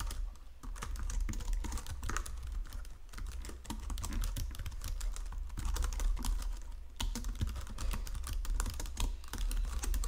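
Fingertips with painted nails type continuously across the low-profile keys of a full-size white and silver plastic Logitech keyboard resting on a marble desk. The result is a steady stream of quick, light plastic clicks and taps with brief lulls, over a constant low hum.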